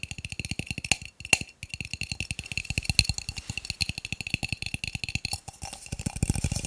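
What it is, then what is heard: Plastic cups. Plastic cups are tapped rapidly, giving a fast, continuous stream of hollow, wood-block-like clicks. Each tap is short and dry, with a low thump and a bright ring near 2.7 kHz. The tapping pauses briefly twice near the start, then keeps going steadily to the end.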